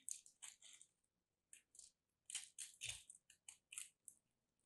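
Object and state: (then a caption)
Starch-coated soap chunk being scraped and cut. A palm-sized solid lilac soap chunk crusted with starch is held in both hands while a metal craft blade scrapes and cuts into it, crumbling pieces off. The quiet clip has fifteen short, bright, crisp crunching bursts separated by brief pauses, with almost no low end.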